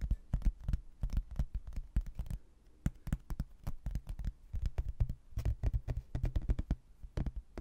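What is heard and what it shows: A rigid laminated hardboard placemat, a solid thin board with a manor-house photo and a textured border, is held in both hands and tapped and scratched with fingertips and nails. Rapid, dry, low thuds come in irregular bursts with brief pauses, each dying away almost instantly, while faint bright scratchy clicks ride on top.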